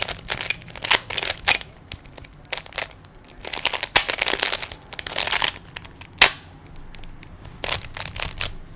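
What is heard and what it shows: Fingertips twist the layers of a small, hollow plastic 3x3 Rubik's cube, producing bursts of bright, dry plastic clicks and rattling that come in quick, irregular clusters with quiet gaps between. The sound is sharp and high with almost no low end, and each click dies away almost instantly.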